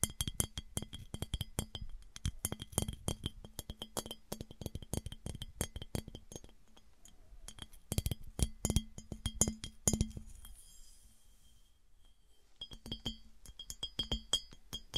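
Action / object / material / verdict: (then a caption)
tap / clear glass piggy bank / glass / none. Long acrylic nails tap and scratch a hollow, empty clear glass piggy bank as it is tilted in the hand and then set upright. Rapid, clicky taps with short, bright glassy rings come in dense bursts, broken by a quieter stretch of soft scraping before the tapping returns.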